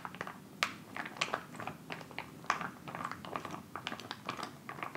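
A filled white plastic instant cold pack pouch resting on fabric and then lifted is tapped and scratched with fingertips, then crinkled. Quick, dry clicks and taps with short scratchy rustles come in an irregular stream, a few sharper pops standing out. The sound is crisp and bright, centered in the upper mids, with almost no low end and very little ring.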